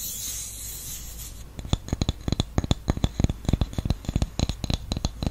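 A round, flat, solid wooden candle lid with an engraved logo is held in the palm while the nails of the other hand scratch its top surface. After a soft, bright hiss, a rapid series of short, dry scratches follows, each with a low thud and a crisp high edge that dies away almost at once.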